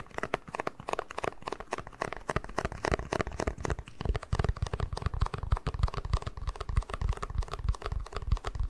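Fingertips tap the base and scratch the side of a small, hollow, empty white plastic cup. The result is a rapid, irregular stream of short, dry taps and crinkly scratches with low, hollow thumps and almost no ring. The thumps grow heavier and deeper in the second half.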